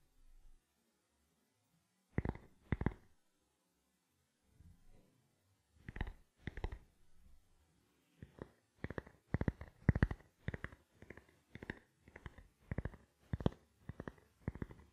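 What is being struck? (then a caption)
Plastic camera lens cap. A small, round, black, hollow plastic camera lens cap is held in both hands close to the microphone and tapped with fingertips and nails. The soft, dull taps are low-pitched and die away at once, coming in sparse pairs at first, then settling into a quicker, steady rhythm.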